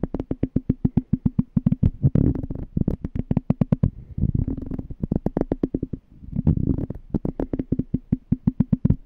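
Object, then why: Small empty glass jar. A small, clear, empty glass jar is held on its side while fingertips tap and scratch its glass bottom and threaded rim. Rapid runs of short, dull taps with a low hollow ring alternate with denser bursts of scratching and rubbing.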